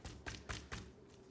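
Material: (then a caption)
Meat. A butcher knocks on the outside of a dry-aged beef sirloin, giving four dull, low knocks with short, dry rings. The exterior has hardened enough to be knocked on like a solid surface.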